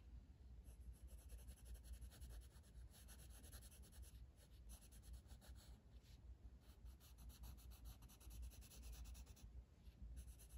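A blue wooden colored pencil, held in the fingers, shades a flat paper coloring book page lying on a table. Soft, continuous scratchy strokes rise and fall in bursts of bright, rasping texture over a steady low hum. The whole clip stays quiet and even.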